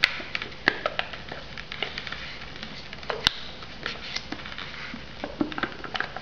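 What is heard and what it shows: Long nails tap the sealed lid and sides of an unwrapped foam instant noodle cup in quick, irregular succession. Each tap is a short, dry, bright click with almost no ring, over a soft hiss.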